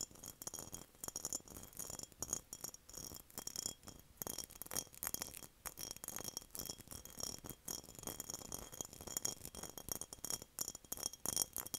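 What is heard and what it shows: A glass mason jar is tapped rapidly and continuously with light, quick strokes. The sound is a dense run of bright, crisp clicks and clinks, mostly high in pitch with very little ring after each tap.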